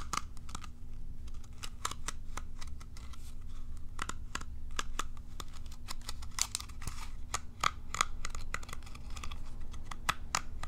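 Long nails scratch and flick across the rows of short plastic bristles on a palm-sized, curved, hollow plastic cat self-groomer brush. The result is a quick, irregular stream of sharp, dry clicks and ticks with a slight ring around 1.2 kHz, heard over a steady low hum.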